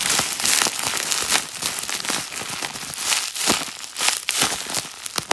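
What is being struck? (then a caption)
Plastic bubble wrap. A sheet of clear plastic bubble wrap, held close up, is rubbed, pressed and crinkled with fingertips and a lilac nail. The result is a dense, bright crinkling and crackling with many sharp little snaps over a continuous hiss. There is almost no low end.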